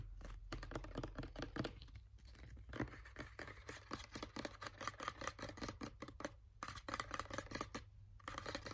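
A green plastic sunscreen bottle is tapped quickly with fingernails, making a rapid, uneven run of short, dry clicks with a hollow tone around 1.2 kHz. Each tap dies away almost at once over a steady low hum.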